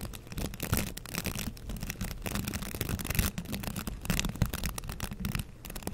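A green plastic scrub brush with a handle loop is held in one hand while fingers scratch across its bristles. The result is a dense, continuous rustling and scratching, heavy in the low end around 113 Hz, with quick crackling strokes through the upper range.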